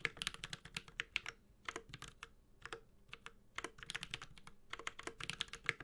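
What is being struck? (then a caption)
Mechanical keyboard with plastic keycaps in a metal case. Fingertips type steadily on a Space65 Cybervoyager, a 65% mechanical keyboard with Holy Panda switches, a white-gold metal case and ABS keycaps. The result is a run of crisp, bright clacks peaking around 2.1 kHz, each dying away almost at once, in quick bursts separated by brief pauses.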